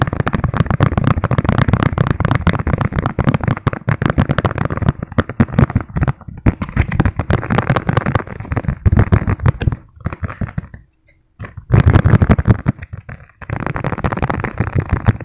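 Fingertips tap rapidly on the printed top of a thin, hollow yellow plastic margarine tub lid, making a dense stream of dull, hollow taps. The tapping runs almost continuously, with a brief quiet gap around the eleventh second before resuming at full pace.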